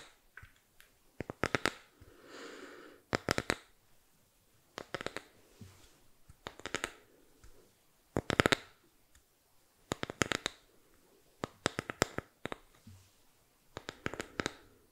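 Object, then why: Small bamboo box. Long manicured nails tap and scratch the surface of a small, flat, rectangular bamboo box held in both hands close to the mic. Quick clusters of sharp, bright clicks come in bursts every second or two, with soft, hissy scratching and faint rustles between them.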